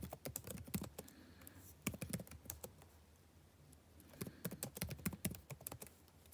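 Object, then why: Plastic chiclet laptop keyboard. Both hands tap with fingertips and short nails on the plastic chiclet keys of a backlit laptop keyboard set in a dark laptop body. Two bursts of quick, light, dry key clicks are separated by a quiet pause in the middle.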